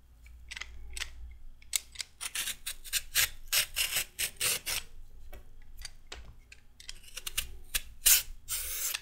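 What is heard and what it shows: A solid raw carrot is scraped with a metal peeler in repeated strokes. Each stroke gives a short, bright, rasping scrape, some quick and close together and others longer, over a faint low hum.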